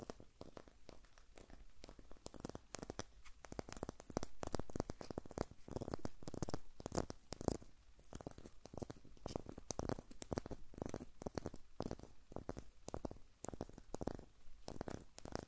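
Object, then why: Birch log with papery bark. A short, solid birch log section with white papery bark and a rough broken end is held close to the recorder and scratched and tapped with fingernails along the bark. It makes a dense run of dry, crackly scratches and quick taps with no ring, heard in close, intimate detail.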